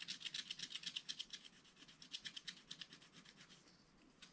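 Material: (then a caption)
Coated paper. A wooden stylus scratches the coated surface of a scratch-art card page in a spiral book, near the zebra and the trees. Quick, bright, dry scraping strokes come in uneven bursts, then grow softer and sparser before one last stroke at the end.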